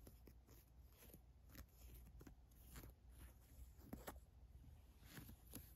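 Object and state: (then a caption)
Cotton t-shirt scratched with nails. Long fingernails and fingers scratch the embroidered white lettering and the fabric of a black printed cotton t-shirt. The sound is a quiet, uneven series of soft, bright scratchy strokes over a low steady rumble, with each stroke fading quickly.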